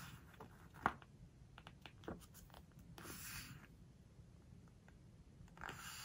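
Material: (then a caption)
Coated paper. Fingertips with long nails rub and scratch across a glossy photo spread in a large, open, glossy-paper hardcover home decoration book. Quiet, dry scratches and soft swishing rubs follow one another, with one sharp tick near the start and brighter, sustained rubs around the middle and end.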